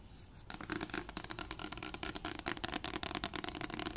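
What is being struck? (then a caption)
Paperback book with card cover. Fingertips and long nails tap and scratch the glossy card cover of a paperback copy of The Hobbit, a solid stack of paper held up in the air. After a quiet half second, a fast, dense run of dry, crisp taps and bright scratchy rasps begins and continues to the end. Each tap dies away instantly, with no ring.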